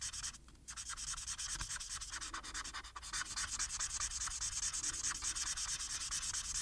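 A felt-tip plastic marker rubs back and forth across a thin printed paper coloring sheet lying flat, with the sheet rotated partway through. The result is a dense, bright, scratchy rubbing made of rapid, fairly steady strokes, with a brief quieter dip near the start before the strokes continue evenly.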